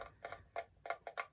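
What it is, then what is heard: Glass mosaic tissue box cover. An iridescent mosaic-style glass tissue box cover from a bathroom set is tapped seven times. Each tap gives a short, bright ticking click with almost no ring.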